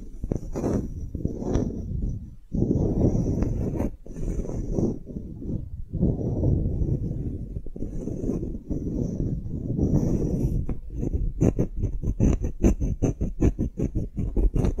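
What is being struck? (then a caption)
Small light-wood block with string loop. A solid rectangular light-wood block tag engraved "relax," with a string loop, is held in both hands and scratched and tapped with long nails. Soft, low scratching and rubbing runs through most of the clip with brief pauses. Toward the end it gives way to a quick series of short, dry taps.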